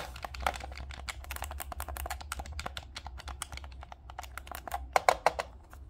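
A dark green plastic Nintendo Switch Pro controller is held in both hands while the thumbs tap its D-pad, buttons and sticks. A rapid, steady stream of short, bright plastic clicks runs over a low, constant hum. A few sharper, louder clicks stand out near the end.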